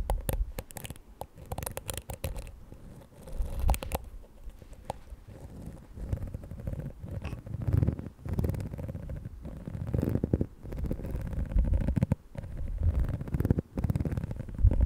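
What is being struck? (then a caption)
Plastic detangling hair brush. A fingernail scratches and flicks the dense black plastic bristles of a small, palm-sized plastic detangling hair brush with a pink plastic dome back. The result is a close, low, rumbling scratch texture broken by rapid crackly flicks, with sharp, brighter ticks clustered near the start.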